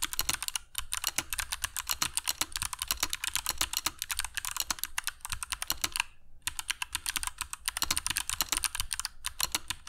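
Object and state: Mechanical keyboard with plastic keycaps.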